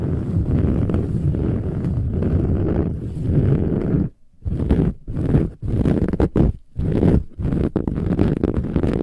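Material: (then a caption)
Woven fabric. Long pointed nails scratch rapidly across the silver-gold textured woven fabric cover of a large, soft, filled metallic pillow. The result is a dense, rough, low-heavy rustling that runs steadily for about four seconds. It then breaks into short bursts separated by brief silent pauses.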